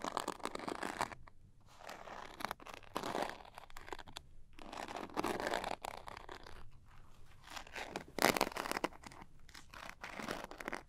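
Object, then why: Small zippered cosmetic pouch with coarse glitter coating. Long nails scratch and tap the coarse glitter faces of a small zippered glitter-coated cosmetic pouch held on its end. Dense, crunchy scratching comes in bursts separated by brief pauses, with bright, gritty texture and little low end. The loudest burst arrives near the eight-second mark.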